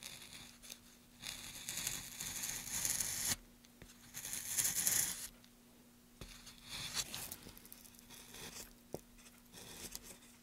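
A gloved hand pushes a wooden-handled chisel along a solid, light pine softwood plank with carved grooves, scraping and cutting the wood. Bright, hissy scraping strokes rise and cut off abruptly, separated by quieter gaps with faint scratches and a sharp tick. A steady low hum runs underneath throughout.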